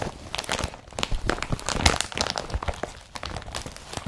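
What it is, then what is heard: Woven polypropylene carrier bag. Fingers crumple a blue woven polypropylene IKEA BRATTBY carrier bag and grip and rub its strap. The result is a dense, continuous crinkling and crunching rustle, bright and scratchy on top with soft low thumps as the plastic is squeezed and shifted.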